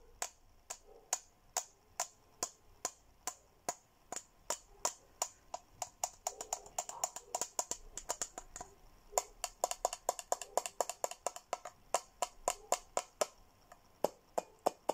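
A hollow, handheld teal plastic Hello Kitty tumbler is tapped on its rim and body with fingertips and nails. It gives sharp, bright clicking taps with a faint hollow tone around 700 Hz and almost no ring. The taps come in a steady rhythm, bunch into a quicker flurry in the middle, then settle back into a regular pattern.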